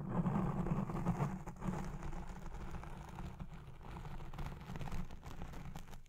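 Red-painted nails scratch the black foam windscreen on a recording Blue Yeti Pro microphone, producing a dense, muffled rumbling rustle that sits almost entirely in the low range with no bright content. The scratching is loudest and busiest in the first second or so, then continues as a steadier, slightly quieter scrubbing for the rest of the clip.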